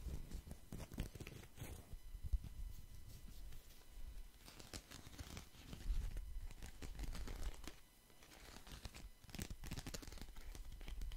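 Fingers riffle, flick and shuffle a deck of paper playing cards with blue and red backs close to the mic. The result is a quiet, steady stream of crisp papery flutters and snaps, with brighter bursts of riffling over a soft, low, close-up rumble.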